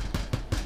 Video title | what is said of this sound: Organic Bread | that sounds pretty hollow